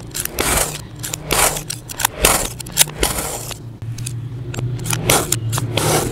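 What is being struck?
Mound of kinetic sand.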